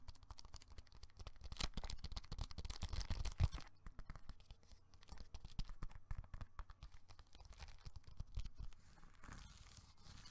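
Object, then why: Foil-laminated plastic bubble mailer. A medium gold foil-laminated plastic bubble mailer envelope, hollow and apparently still holding the glam bag, is held in both hands and squeezed, crinkled and rubbed with fingertips and nails. A dense run of crackling, crinkling rustles with tearing-like bursts rides over a low rumble, loudest in the first few seconds, then continues in softer, scattered crinkles.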